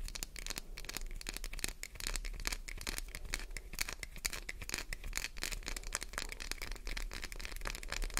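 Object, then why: Glycerin soap bar. Long white-tipped nails scratch fast across the embossed face of a solid translucent green glycerin soap bar, leaving scratch marks. A dense, steady stream of quick, bright scratchy crackles runs throughout over a faint low hum.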